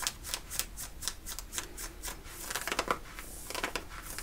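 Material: Cotton denim.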